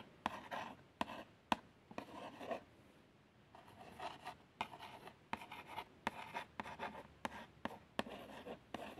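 A long nail traces letters across the printed front of a small, hollow cardboard box of plasters. Soft scratching strokes with a papery rasp, centred in the midrange, alternate with sharp little clicks where the nail meets the card. Brief quiet pauses separate the tracing.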